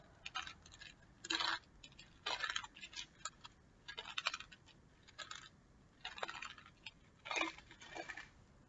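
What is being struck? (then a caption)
Small clear plastic bottle holding small loose pieces. A small clear plastic bottle full of colorful loose pieces is held by its base in one hand and shaken or turned so the contents rattle. Bright, dry rattling comes in short, uneven bursts with quiet gaps between them, and each clatter stops almost at once with no ring.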